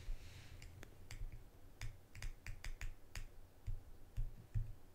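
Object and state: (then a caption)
Small metal salve tin. A small, shallow, closed round metal salve tin with a printed lid is held in the hands, then set on a table and tapped and scratched with long green-painted nails, while a second tin sits nearby untouched. Twelve sharp, dry clicks come through, each with a bright high tick over a soft low knock. They die away almost at once over faint scratching.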